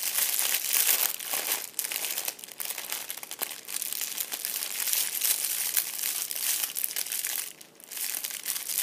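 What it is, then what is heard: Metallic foil crinkle ball. A fist-sized purple metallic foil crinkle ball resting on an upholstered seat is touched with fingertips, then squeezed and crushed by hand. This produces dense, bright, continuous crinkling and crackling with almost no low end, briefly quieting near the end before the crinkling resumes.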